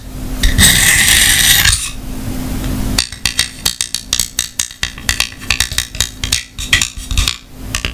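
A small hollow white plastic clamshell travel lint remover case, held open in one hand with dark tool pieces inside, is tapped and clicked with long painted fingernails. A loud, broad hissing rustle opens the clip and fades. From about the three-second mark come quick, irregular, bright plastic clicks and taps over a faint steady low hum.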